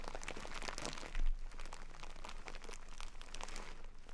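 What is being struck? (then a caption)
Burlap sack of rice. A full jute burlap bag of rice, held upright, is scratched with long nails and squeezed, making a dense stream of dry crinkling, scratching and crunching as the rice shifts inside. The texture runs steadily throughout, with a brief low thump near the 1.2-second mark.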